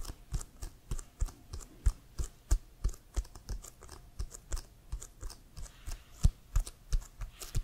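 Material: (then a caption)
Leather. Fingernails tap on an inflated, hollow leather American football with a CFL logo, held upright. A steady run of short, dull taps, each a deep hollow thump with a bright clicky edge, dies away almost at once with quiet gaps between.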